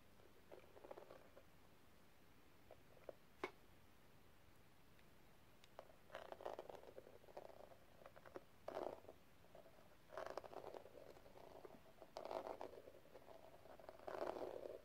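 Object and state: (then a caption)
Rhinestone metal cigarette case, tapped. Long red nails tap a small, hollow, flat metal cigarette case with pink gem tiles and a rhinestone border, held in one hand by fingers wearing metal rings. Quiet, dry clicks and rapid pattering bursts come in clusters with a muted, hollow tone around 640 Hz. A single sharper click stands out early, and the taps stop almost instantly with no ring.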